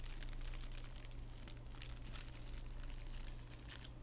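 Long red-painted nails scratch and rub across a hand-sized, hollow, flat padded envelope lined with plastic bubble wrap, held close, crinkling the wrap. The result is a continuous, quiet crinkling with irregular bright scratchy bursts over a steady low hum.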